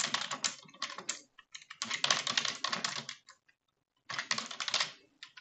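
Rapid key taps on a full-size dark plastic computer keyboard on a desk, typed with both hands using fingertips and long French-manicured nails. Bright, clicky taps come in quick bursts with short pauses, then a near-silent gap of about half a second before the typing resumes.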